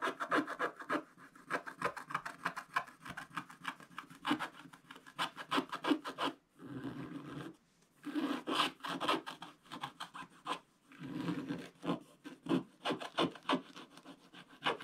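A wooden stylus scratches away the remaining black areas of a black-coated scratch-art card page in a spiral book. Quick, irregular dry rasping strokes come in bursts with bright, scratchy highs, broken by a few longer, smoother rubbing passes.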